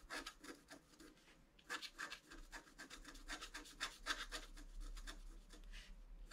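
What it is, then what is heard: Scratch-art card being scratched. A wooden stylus scratches short strokes across a flat scratch-art sheet of black coated paper, etching the right antler of a drawing. The quiet, dry, bright rasping comes in quick, slightly irregular strokes, roughly three to four per second, with no ring after each one.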